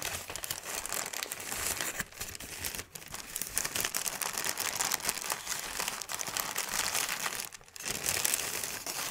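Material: Paper.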